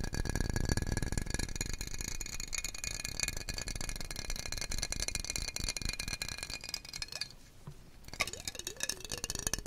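Fingertips tap very quickly across the sides and bottom of a small, clear, hollow glass jar that appears empty, held in both hands and rotated. The result is a dense, rattling stream of bright glassy clinks over low thumps. The tapping eases briefly near the end, then picks back up.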